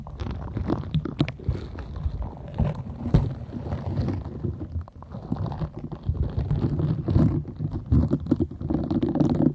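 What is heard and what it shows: Long nails scratch across the soft nubs and bristles of a green silicone scrubber that appears to be held over the microphone. The result is a dense, continuous run of muffled scratching and rubbing, heavy in low rumbling tones with faint brighter ticks, swelling and easing in loudness throughout.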